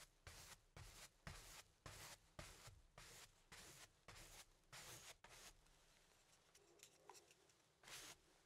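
A paintbrush loaded with black paint strokes and dabs across a medium stretched cotton canvas, thin fabric over a hollow wooden frame, resting on an easel. A steady run of broad, bright brushing swishes with a soft low thump from the hollow frame is followed by quieter, lighter dabbing taps, then one final full stroke.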